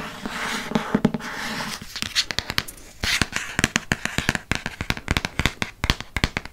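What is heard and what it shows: Fingernails scratch and tap on a dark hardcover paper Harry Potter book held in the hand, working across its cover and spine. A soft, hissing scratch runs through the first two seconds and returns around three seconds. Quick, dry, bright taps follow with almost no ring.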